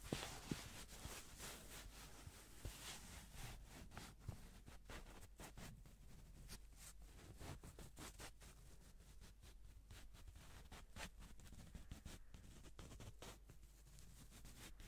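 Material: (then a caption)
Paper. A single folded yellow paper banknote, held in black-gloved hands, is rubbed and crinkled close to the microphone. The result is a steady run of quiet, dry paper crackles and short rustling clicks over a low background rumble, with brief bright crinkle transients throughout.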